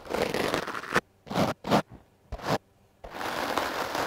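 A foam microphone windscreen is brushed quickly with the hard bristles of a wooden clothes brush, making a dense, broadband scratchy rustle. A continuous stretch of brushing gives way to a few separate short strokes with silent gaps, then steady brushing resumes.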